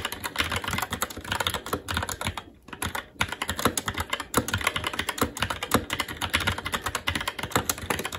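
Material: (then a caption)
Plastic. Continuous fast typing with the fingertips of both hands on a SteelSeries Apex 7 TKL mechanical keyboard with plastic keycaps on a metal top plate and Red linear switches. Dense, bright, clicky keystrokes run together with short, dry decay, broken by a brief pause near the middle before the rapid typing resumes.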